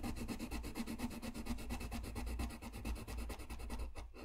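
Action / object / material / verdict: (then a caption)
scrape / paper sheet and coloured pencil / paper / none. A blue colored pencil scratches and rubs across a flat white paper sheet while coloring, making a steady, rapid run of back-and-forth strokes. Each stroke gives a soft, papery rasp with a low, dull body and faint bright hiss, and the strokes stop just before the end.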